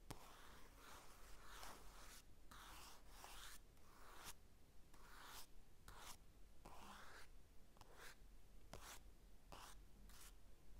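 A hand sweeps across a flat glossy paper magazine lying on a table with a mini mic resting on it, scratching and tapping the paper cover with fingertips and nails. Soft, bright brushing and scratching bursts come and go with brief pauses between strokes, over a quiet, steady low hum.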